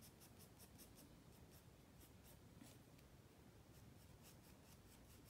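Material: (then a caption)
Paper. A wooden graphite pencil held in the fingers rubs and scratches across a white spiral-bound paper sketchpad lying flat on a wooden desk while drawing. Quiet, steady scratching runs throughout, broken by short, bright, papery strokes that come in quick bursts over a soft, low rustling bed.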